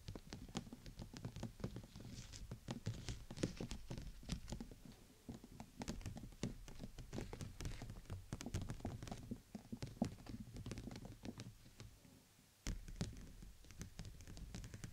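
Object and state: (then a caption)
Clear plastic dome umbrella tapped with nails. Long nails tap the stretched canopy of a clear PVC dome umbrella held over a microphone, striking near the tip and the sides. The result is a dense, irregular patter of soft, dull taps with a low, thumpy body and only faint bright clicks. The taps die away almost instantly, ease off briefly near the end, then pick back up.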